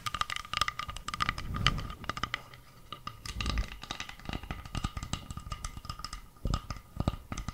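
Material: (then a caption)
Bamboo. Long nails tap and scratch along the grain of a round, flat, solid bamboo board held close to the mic. Rapid, dry, short taps mix with soft scratchy rubbing, with low thumps under them and a faint steady tone running throughout.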